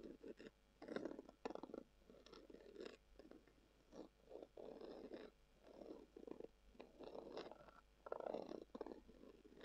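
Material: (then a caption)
Leather. Long acrylic nails scratch a brown, textured, leather-covered tubular glasses case that is hollow and held in both hands. Soft, muffled scratching comes in irregular bursts, with a dull hollow tone centered in the low mids and faint bright edges, separated by quiet pauses.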